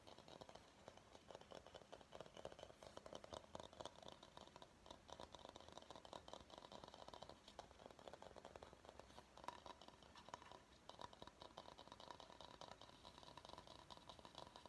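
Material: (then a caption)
Bamboo. A medium empty bamboo bowl is held bottom-forward while fingernails tap and scratch across its base and sides. The result is a quiet, steady stream of rapid, dry clicks and scratchy rustling, centered in the midrange around 1 kHz with a bright edge. Each tap dies away almost instantly.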